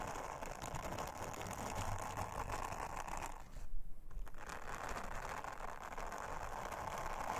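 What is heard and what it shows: An orange silicone bristle scrubber, held under long-nailed fingers, brushes, rubs and scratches across a round, flat, thin blue silicone honeycomb trivet lying on a table. The result is a steady, dense, low rustling scrape with a faint mid-range hiss. The sound briefly thins out and softens just past the midpoint before a short louder burst of scratching.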